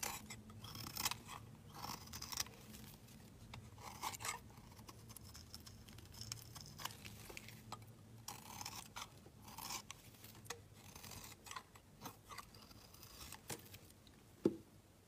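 A steel utility blade shaves the edge of a hand-held solid pink bar of soap, dropping shavings into a pile. Quiet, bright crunching and scraping strokes repeat steadily, with a low hum underneath and a sharper click near the end.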